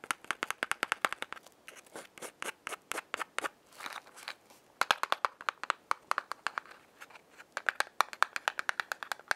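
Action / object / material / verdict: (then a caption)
tap / small cardboard matchbox / cardboard / none. Long fingernails rub the striking strip of a small, closed yellow cardboard matchbox held in the hand, then tap and scratch its printed front face. Dozens of quick, dry, crisp taps and clicks come in fast runs, each dying away almost instantly. Softer scratchy rubbing passes break up the runs near the start and middle.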